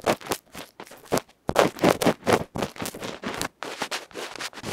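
A bamboo ear pick scratches across the dark felt front of a small metal electret microphone capsule held in the fingers. Rapid, irregular bursts of rough, crackly scraping come in short strokes with brief gaps, bright and close with little low end.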